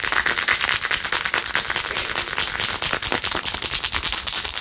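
Long nails scratch fast across a blue-jeweled, rhinestone-covered plastic phone case. The result is a dense, continuous stream of bright, crisp clicking and rasping with almost no low end, the quick strokes blurring together in a fairly irregular rhythm.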